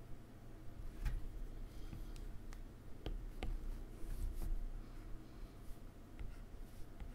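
A plastic stylus tip taps and makes short strokes on a solid iPad glass touchscreen. Soft, brief clicks and faint scratchy strokes sit over a quiet, low background rumble.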